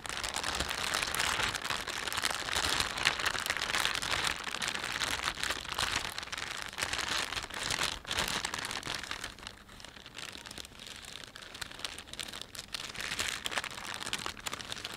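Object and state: Plastic shopping bag being crinkled.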